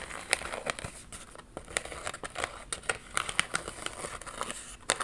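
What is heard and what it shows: A thin cardboard retail card with small embroidered mermaid iron-on patches attached is held in one hand and scratched and tapped with long pink nails. Dry, bright crinkling scratches mix with many quick, light taps that stop dead with no ring, with almost no low end.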